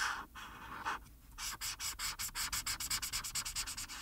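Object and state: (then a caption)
Felt-tip marker on paper. A hand with painted nails rubs the felt tip of a plastic alcohol marker over a flat printed paper coloring page lying on a dark surface, filling the skeleton's eye with yellow. Two longer, bright scratchy strokes are followed by a brief pause, then a quick, even run of short back-and-forth strokes. The sound is a dry, hissy rasp concentrated in the high range, with little low end.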